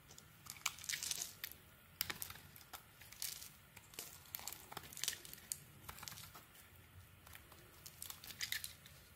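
A metal utility blade scrapes and peels slices off a red solid soap bar held in the hand. Each stroke makes a crisp, bright, papery crackle, like light tearing and crinkling, with almost no low end. The strokes come in quick irregular bursts, and each one stops dead with no ring.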